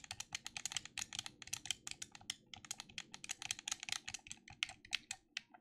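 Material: Plastic.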